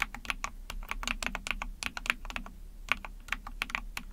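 Rapid typing with long painted nails and fingertips on a small 44-key Epomaker TH40 mechanical keyboard with an ABS plastic case, PC plate and backlit pink and white keycaps. About two dozen sharp, bright plastic clacks centered near 2.5 kHz fall in quick, uneven succession, each dying away almost instantly over a faint low hum.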